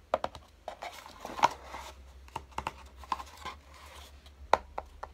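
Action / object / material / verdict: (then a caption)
tap / small closed cardboard box / cardboard / none. Fingertips tap and scratch the lid of a small, closed, hollow kraft-cardboard box lying on a dark table, giving a series of short, dry, hollow taps with a midrange knock around 870 Hz between soft scratching rustles. Near the end the box is lifted slightly in both hands, and a few more sharp taps follow.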